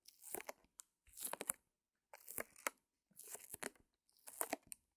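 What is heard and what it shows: A small white canvas, still in its clear plastic wrap and lying on a fur rug, is scratched and tapped with long nails. Quiet, bright crinkling and crackling come in five short bursts separated by silences.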